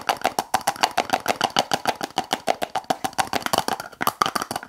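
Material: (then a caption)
Plastic. Long acrylic nails tap rapidly on the lid of a small clear plastic tub full of blue slime. The clicks are crisp, short and dry, with a bright plastic tone around 1.2 kHz. They come in a quick, somewhat uneven stream of about 29 taps.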